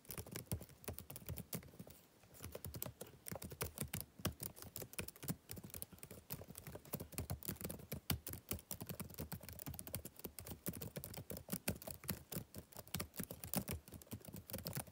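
Fingertips type rapidly on the backlit plastic keys of a laptop keyboard, producing a steady stream of short, dry taps. Each tap has a soft low thud and a bright click edge that dies away almost instantly. There is a brief lull around the two-second mark before the quick typing continues to the end.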